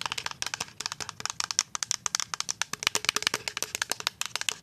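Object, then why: Plastic liquid soap pump bottle. A full white plastic pump bottle of liquid hand soap, about 370 ml, is tapped rapidly with paper-clip-covered nails, giving about 36 sharp, bright clicks. Each tap is short and dry with almost no ring and hardly any low end.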